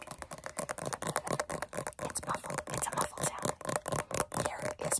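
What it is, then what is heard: Metal tin tapped and scratched with fingernails. Long fingernails rapidly tap and scratch the lid and printed base of a large, round, blue metal Nivea Creme tin, a hollow container. The result is a fast, uneven stream of short, bright clicks and scrapes with a light hollow ring around 590 Hz that dies away almost instantly. A faint whisper may be mixed in.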